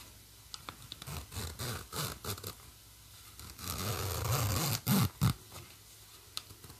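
Long nails scratch along the black plastic coil zipper teeth of a green nylon bag, and fingers move the slider. Short, dry scratching bursts start off the clip, then build into a longer, steady rasp. Two louder zips follow, and the clip ends with a few faint ticks.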